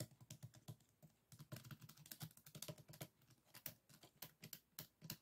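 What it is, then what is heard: Closed bamboo folding fan. A closed bamboo folding fan is held on a table while fingertips and nails rapidly tap and scratch its stack of bamboo ribs. The result is a quick, uneven run of dry clicks and taps, each with a soft low knock and a bright ticking edge that dies away almost at once, much like fast keyboard typing.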